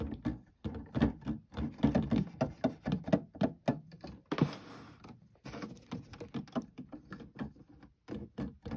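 Fingertips press and tap the plastic keys of an electronic keyboard, producing an irregular, rapid stream of short, dull key clacks with a low thud. The taps briefly pause and turn into a softer, hissy rubbing midway before the clacking resumes, with each click dying away almost instantly.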